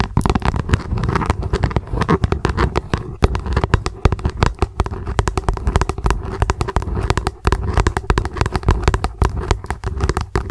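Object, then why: Plastic lunch box. Long acrylic nails rapidly tap and scratch an upside-down, translucent, hollow plastic lunch box. The result is a dense, fast stream of short, dry taps with a hollow, low-weighted body and almost no ring, mixed with soft scratching between the hits.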